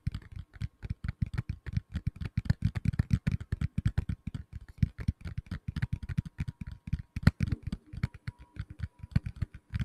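A black tablet in a plastic case, held by the microphone, is tapped quickly with fingertips and nails. The result is a steady stream of short, dry, low thuds with faint bright clicks that stop almost instantly.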